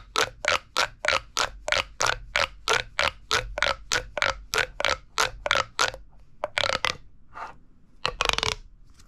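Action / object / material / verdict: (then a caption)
scrape / corrugated plastic pop tube / plastic / none. A hollow red corrugated plastic pop tube, held vertically, is squeezed and collapsed by the fingers, making its ribs pop. A steady run of bright, crackly pops comes about three times a second. It then slows into a few scattered, louder bursts with quieter gaps between them.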